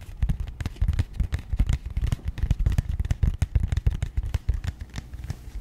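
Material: Cardboard.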